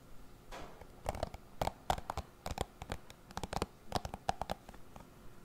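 Fingertips scratch and flick across the dense bristles of a hand-sized dark plastic paddle cushion hairbrush held beside a foam-covered microphone. The result is a quiet series of quick, dry, crackling flicks and scratches, each a short burst with a faint mid-pitched ping, spaced irregularly across the clip.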